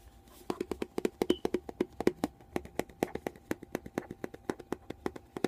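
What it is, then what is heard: Plastic conditioner bottle. A white, bonus-size plastic VO5 conditioner bottle, hollow and apparently filled, is held in one hand and tapped and scratched with the fingertips and nails of that same hand. About 38 quick, dry taps come in a steady, uneven patter, each with a hollow knock around 360 Hz and a faint bright click that dies away almost at once. The clip is quiet and close throughout.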